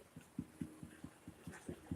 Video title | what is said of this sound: Lets Continue The Bread And Dinner | that is the hollow sound that you want to hear